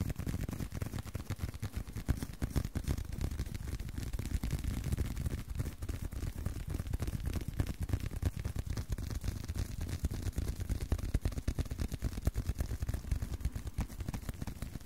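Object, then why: Leather card wallet. A leather card wallet is tapped repeatedly by hand at a quick, somewhat uneven pace of about three taps per second. Each tap is a soft, dull, low thud that dies away almost instantly, with little brightness. The tapping keeps a steady, quiet level throughout.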